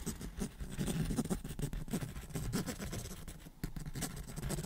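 The tip of a pen scratches the cover of a large, closed black hardcover sketchbook, possibly cloth- or cardboard-bound, held upright near the microphone. A steady, dense, low scratching rasp runs throughout, briefly quieting around the three-and-a-half-second mark before resuming.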